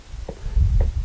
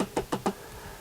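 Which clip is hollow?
The second.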